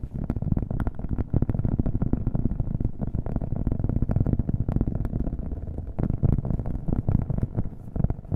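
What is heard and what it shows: A round, flat cork coaster held in the hand is tapped rapidly with fingernails, with an echo effect on the audio. The result is a steady, dense stream of dull, low thuds with almost no bright content.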